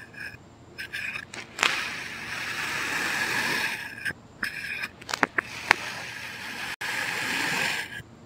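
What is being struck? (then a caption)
Packed kinetic sand cut by a thin blade. A thin knife blade slices repeated diagonal cuts through a solid, packed red kinetic sand heart resting on a white surface. Each cut gives a soft, gritty, hissing scrape, with long sustained drags around two and seven seconds and sharper short strokes in between.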